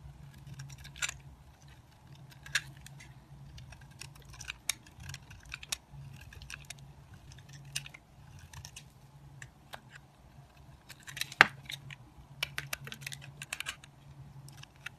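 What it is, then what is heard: Soap bar being carved. A metal utility knife shaves curls off the edges of a solid white soap bar, thinned from carving and held in the fingers. Quiet, crisp scraping clicks and short bright snaps come at an uneven pace, each dying away almost instantly. A steady low hum sits underneath.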